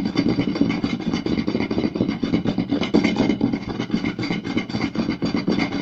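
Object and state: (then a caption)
Wooden plate being scratched and tapped. Two hands rapidly scratch and tap the surface and edge of a round, solid wooden plate with their fingertips and short nails. The result is a dense, continuous stream of quick, dry wooden taps and rubbing scrapes with a hollow, mid-pitched body and only brief ring.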